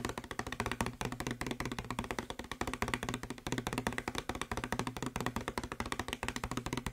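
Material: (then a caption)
Plastic. Fingertips and nails tap and knock quickly on the body of a hollow blue plastic Febreze spray bottle. A fast, steady stream of short, dry clicks and knocks with a hollow low resonance around 250 Hz continues throughout, with each hit dying away almost at once.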